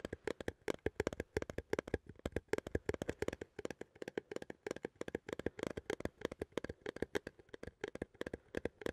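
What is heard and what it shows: A small cylindrical metal coffee tin, held in both hands, is tapped and scratched with fingertips and nails in a rapid, steady stream of short, dry clicks and scrapes. Each tap carries a faint hollow tone around 445 Hz with almost no ring, over a quiet, soft overall level.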